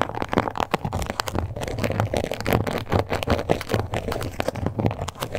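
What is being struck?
Croc-embossed faux leather card holder.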